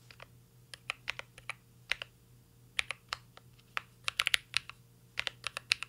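Fingertips of both hands type on a full-size CYBERBOARD R3 mechanical keyboard with an aluminum case, plastic keycaps and Holy Panda switches. About 23 bright, crisp keystroke clicks land in an irregular rhythm, each dying away almost instantly. A faint, steady low hum sits underneath.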